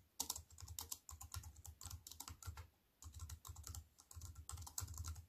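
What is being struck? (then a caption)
Plastic keyboard keys. Fingertips with long white-painted nails tap quickly across the black plastic keys of a compact wireless keyboard with a grey metal-look frame, lying flat on a wooden table. The result is bursts of bright, crisp clicks over a soft low thump, with short pauses between runs of typing.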